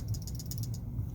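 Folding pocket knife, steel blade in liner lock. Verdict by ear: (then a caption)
Loose. A Smith & Wesson Sideburn folding pocket knife, with a metal blade and liner lock, is shaken while folded. Its loose blade rattles in a quick run of light, bright metallic clicks over a low rumble. The blade is loose, possibly damaged from repeated reverse flicking, and moves against the lock's detent only when closed; it stays still when open.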